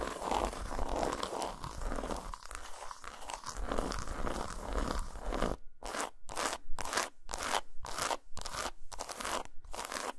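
Long nails scratch and tap a solid, segmented dark chocolate bar lying flat on a towel. For about the first five seconds there is a dense, continuous crackly scraping, then it breaks into a fast series of short, bright scratching and tapping bursts separated by brief silences.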